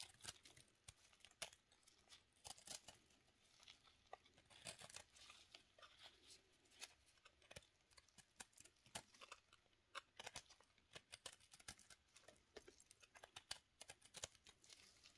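A small, solid pink recycled soap cube held in black-gloved hands has its edge shaved with a steel knife, curling off strips of soap. The scraping makes a quiet, rapid run of crisp, bright crackling scratches and clicks. Each one is short and dry, with almost no low end.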